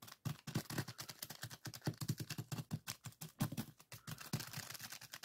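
Fingertips of both hands press, squeeze and scratch a small clear plastic zip-lock bag full of purple sand granules lying flat on a table. The result is a quick, dense run of short, dry crunches and gritty rustles, each with a soft low thump under bright, crinkly plastic-and-grain crackle. Each burst dies away almost instantly.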